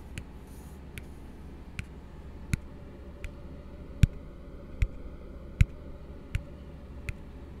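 An empty, hollow blue plastic tumbler is held upside down and tapped with the fingertips ten times at a steady, unhurried pace. Each tap is a short, dry click with a bright edge and no ring, heard over a low, constant hum.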